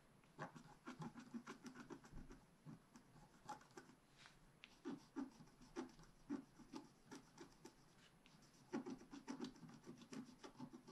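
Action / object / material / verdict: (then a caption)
scrape / wax-coated scratch art paper scratched with a wooden stylus / waxed paper / none. A wooden stylus scratches quick, short strokes into the top right corner of a black wax-coated scratch art page lying on a table. The result is a quiet series of dry, rasping scratches with a low, papery body, irregular in spacing and loudness and separated by brief soft pauses.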